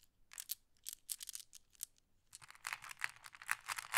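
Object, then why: Small flat glass pebbles in a wooden tray. Small, solid, flat glass decorative pebbles are shuffled in a handful over a wooden tray while fingers pick more from the pile. Quiet, bright, irregular clacks and clicks come in loose clusters, growing denser and louder toward the end, each one dying away almost instantly.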